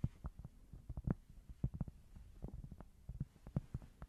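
A small, thin, solid square cork board is held close to the mic and scratched with long nails. The result is a quick, uneven series of soft, muffled, dull bumps and scrapes. They are deep and bassy with no ring, and each one dies away almost at once.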